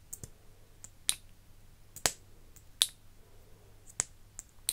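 Fingers with long nails open and close the silver cap of a partly full, iridescent plastic lip gloss tube and handle its wand. About nine sharp, bright plastic clicks land at irregular intervals, each dying away almost instantly, over a faint steady low hum.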